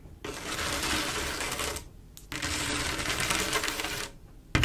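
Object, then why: Mirror-glass mosaic tile panel with grout. Long acrylic nails of both hands scratch and tap across a flat panel of silver mirror-glass mosaic tiles with grout. Two sustained bursts of dense, bright, gritty scratching are separated by a short pause. A sharp tap follows a brief quiet at the end.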